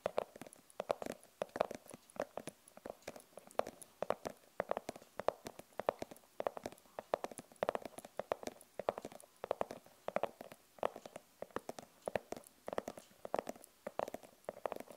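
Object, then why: Fabric-covered hard glasses case. Long nails tap the front of a rigid, hollow glasses case with a printed fabric cover in fast clicking patterns and scratch across it. The result is a dense run of short, dry clicks with a hollow knock around 600 Hz and thin scratchy noise reaching high.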